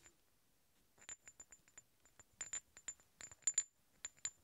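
Two large, solid steel threaded hex bolts are tapped and scraped against each other, producing about a dozen short, bright metallic clinks with a high, thin ring. Each clink fades almost at once, separated by quiet gaps and faint scraping.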